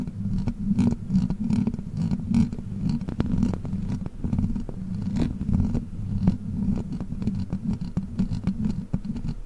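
Long black plastic witch-finger claw extensions worn on the fingers scratch and tap the hollow metal mesh grille of a large silver Blue Yeti-style microphone. The result is a steady run of dense, rumbling scratches dominated by low, boomy tones, broken by sharp clicky taps that die away almost at once.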